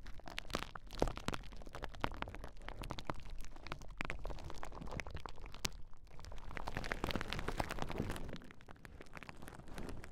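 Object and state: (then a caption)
Plastic bubble wrap sheet. A large clear plastic bubble wrap sheet is held across the microphones while fingertips and nails squeeze and pop its bubbles. The result is a quiet, dense stream of sharp, short pops and crinkling crackles over a soft low rumble, with a few louder snaps standing out.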